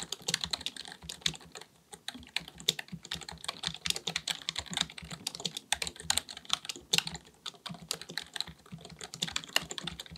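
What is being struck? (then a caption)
Plastic computer keyboard. Fingertips of both hands type rapidly on a black full-size plastic computer keyboard resting on a desk. The result is a dense stream of crisp, bright key taps that die away almost instantly, with very little low end and a few brief pauses between bursts.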